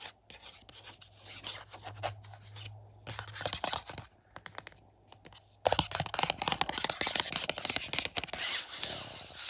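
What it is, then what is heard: Movie case with cardboard slipcover. Fingertips tap and rub the front of a hollow 4K UHD case of The Boogens, a plastic case inside a glossy printed cardboard slipcover, lying on a carpet. Dry, bright scratching and rubbing come with quick clicky taps over a faint low hum. After a quieter first half, the tapping turns louder and denser.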